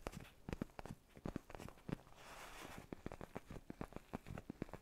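Fingertips tap and nails scratch on the surface of a black padded faux-leather neck pillow close to the mic. Quiet, dull, low thuds come in quick irregular bursts, broken by a soft continuous scratching rustle in the middle before the tapping resumes.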